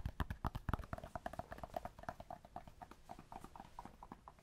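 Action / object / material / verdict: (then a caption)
tap / small cork block / cork / none. A small solid cork block, held in the hands, is tapped rapidly with fingertips and nails while it is moved close to the microphone and then farther away. The result is a quick run of dry, short taps with no ring: deep, louder thumps at first, then softer, lighter knocks with a woody mid-range tone as the block moves away.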